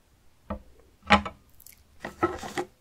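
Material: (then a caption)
Pumpkin rind. Fingertips and short painted nails tap the side of a small, solid, uncut whole orange pumpkin with its stem, resting on a table. The taps land as dull, hollow knocks with a low body tone and some bright nail clicks, each dying away almost at once. A light scratchy brush is heard between them.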